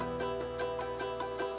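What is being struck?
Nothing is struck.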